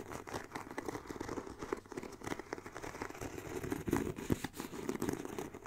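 Long black nails scratch the grained surface of the hollow bottom panel of a black pebbled faux leather backpack with metal studs. The result is a quiet, continuous, dry scratching and crinkling texture with a dense patter of small rasps, concentrated in the low-mid range and with little bright content.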